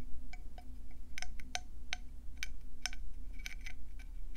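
Long painted nails tap fast on the ridged surface of a hand-sized, hollow, cream and brown speckled conch shell held in both hands. The result is a quick run of short, bright, clicky taps with almost no ring, over a steady low hum.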